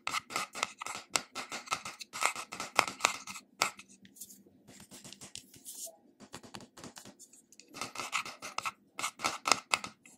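Fingernails scratch across the silver metal-look lid of a small glass cream jar with beige contents. Quick, dry, bright scratching strokes come in irregular bursts, softening and thinning in the middle before picking up again near the end.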